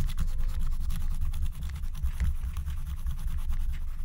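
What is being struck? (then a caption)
Scratch-art coated paper sheet scratched with a wooden stylus. A wooden stylus scratches and rubs across a thin black-coated scratch-art card lying flat, while the other hand holds a second stylus. The result is a steady, close scraping texture with a heavy low rumble and faint bright grainy streaks throughout.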